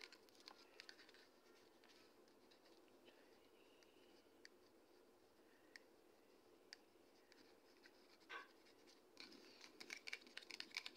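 Long red acrylic nails tap and scratch a medium white plastic Toni&Guy conditioner bottle, hollow and likely partly full, held up in the air. Soft, hissy scratching runs throughout, broken by sharp, dry plastic clicks that die away instantly. The taps grow denser toward the end.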